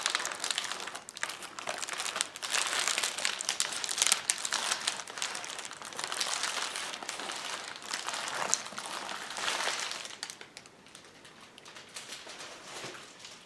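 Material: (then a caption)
Plastic. A sheet of clear plastic bubble wrap spread on a table is pressed, rubbed and handled by hands. The result is a dense, bright crinkling and crackling full of quick, irregular snaps, with almost no low end. It grows louder in the first few seconds and fades quieter toward the end.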